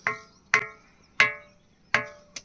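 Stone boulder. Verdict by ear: Hollow.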